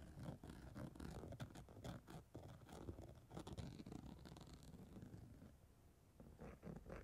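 The pointed tail of a black comb scrapes and scratches purple holographic chunky-glitter fabric stretched over a rounded padded surface. It makes a dense, gritty run of rapid scratchy strokes with a low rumbly body. The strokes quiet down briefly near the end, then pick up again in a few final sharp scrapes.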